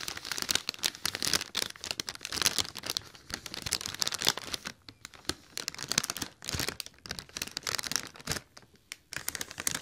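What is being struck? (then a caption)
Inflated mylar foil letter balloon. Fingers and nails rub and crinkle the surface of a large, hollow, silver inflated mylar foil "O" letter balloon held close to the mic. Dense, bright crinkling and crackling comes in bursts with brief quiet gaps, carrying almost no low end.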